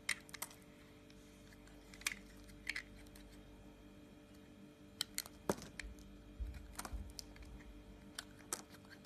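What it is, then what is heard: Bar of soap being cut. A yellow utility knife blade cuts into a white oval solid soap bar held in a wet hand. Short, sharp, bright clicks and crackles come scattered and irregular, some in quick clusters, over a quiet steady low hum.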